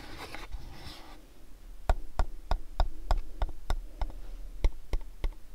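Fingertips and nails scratch a long, hollow mint-green cardboard gift box with a shop illustration, making a soft rustling scrape for about the first second. After a brief pause come 12 sharp, dry, hollow taps at a fairly steady pace, each dying away almost instantly.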